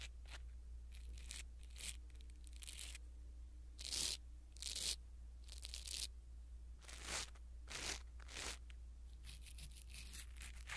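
A blue silicone-bristle ear pick rubs against a small black foam windscreen on a pin microphone, making close, bright scratchy rustles and crunchy tearing-like bursts. A steady low hum runs underneath, and the louder strokes come around four and five seconds in and again near seven to eight and a half seconds.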